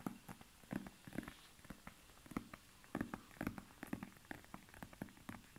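Fingertips and nails tap and scratch the grey-blue snakeskin-textured leather face of a small, soft, padded zip-around wallet held in both hands. About twenty short, dull, low-pitched taps land at an uneven pace, each dying away almost at once, with faint scratchy rustling in between. The sound stays quiet and close throughout.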